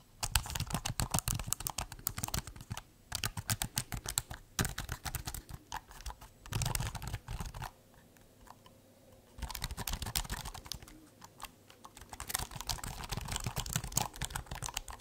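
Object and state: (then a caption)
Laptop keyboard with plastic keys. Fingertips rapidly tap and type on the black plastic chiclet keys of a thin, hollow-bodied silver laptop held upright behind the mic. The result is dense bursts of short, dry clicks, bright on top with a low hollow thump beneath, broken by brief pauses and a longer quiet gap midway.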